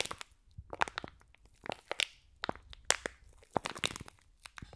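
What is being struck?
Foam bead slime in a clear plastic pack.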